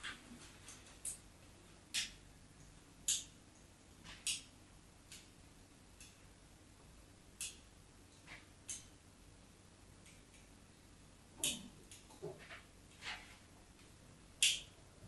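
The metal tip of a craft knife scratches lines into the surface of a solid white embossed bar of soap held flat. A series of short, quiet, bright scraping strokes is heard, spaced irregularly over a faint low steady hum.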